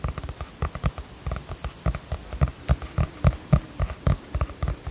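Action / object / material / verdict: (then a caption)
tap / cardboard hardcover notebook cover / cardboard / none. Fingertips and short nails tap the cardboard cover of a teal hardcover notebook with a celestial print, held upright in both hands. About 21 soft, dull taps come in a quick, uneven rhythm. Each is a low, muffled thud with a faint brighter click, dying away almost at once.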